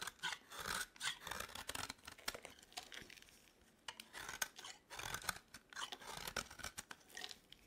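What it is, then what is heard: Dry bar of soap. A green, dry, solid bar of soap is held in the hand and scraped with a metal blade. Repeated quiet bursts of crisp, bright rasping come in irregular strokes, with a short lull near the middle. There is almost no low end and the sound dies away at once.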